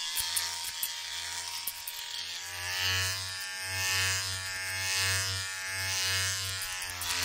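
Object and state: Nothing is struck.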